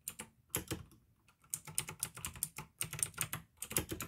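Fingertips type on a pink AUKEY plastic mechanical gaming keyboard with blue switches. Bright, sharp clicks come in quick bursts over a faint low thud, with a brief pause about a second in before the typing resumes.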